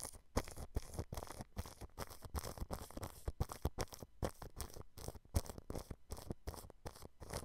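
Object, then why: Plastic cling film stretched over a microphone grille. A thin paintbrush brushes a white dome microphone whose grille is covered with clear cling film. Repeated quick strokes, separated by brief gaps, make close, crinkly scratching and rustling with a strong low rumble beneath and only faint brightness. Each stroke stops dry with almost no ring.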